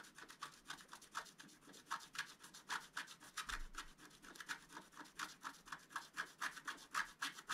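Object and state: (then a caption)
Scratch-art card being scratched. A thin wooden stylus scratches a flat A4-size scratch-art card, its black coating over a colored print, lying on a white table while the other hand holds the card. At the start the stylus is only held. About three dozen short, dry scraping strokes follow at a quick, uneven pace of roughly four per second, each a quiet, bright, papery rasp with little low end.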